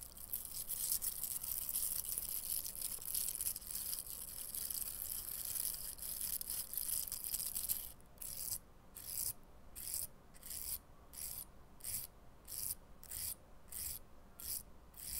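Fingernails scratch and rub along a small light-blue hollow cylindrical plastic velcro hair roller, with a bristly hook-and-loop surface over a plastic mesh core, held in one hand. A dense, bright, crackling scratch runs steadily for about eight seconds, then breaks into a series of short, rhythmic rasping strokes separated by brief quiet gaps.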